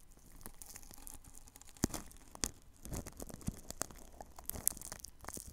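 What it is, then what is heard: Plastic cling film brushed over a microphone. A paintbrush brushes the side of plastic cling film wrapped over a ball microphone. Soft, crinkly rustling strokes run throughout, broken by sharp, bright crackles and low thumps as the film shifts against the mic.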